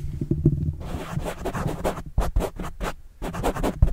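A pen scratches across a black foam windscreen on a microphone, then a fingertip scratches the same foam. The result is a run of quick, muffled scratching bursts with a heavy low rumble and little brightness, loudest in short strokes toward the end.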